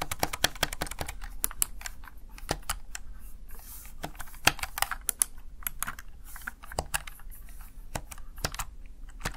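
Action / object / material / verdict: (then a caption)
tap / plastic gaming keypad keys / plastic / none. Fingertips rapidly press the keys of a Razer Tartarus Chroma plastic backlit gaming keypad. Quick, sharp plastic clicks and taps come in an uneven, busy stream over a low background hum, each tap bright and dying away almost instantly.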